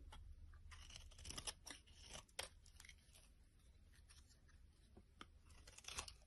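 A blade scrapes the surface of a solid flat yellow bar of soap held in the hand over a pile of shavings. Quiet, crisp scraping and crunching strokes come in irregular bright bursts, each one brief and dry over a low, steady background rumble.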